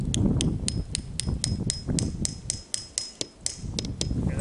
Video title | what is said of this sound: 2021 Maple Syrup Lines And Tapping Trees | you listen for the sound when it starts changing don't hit it no more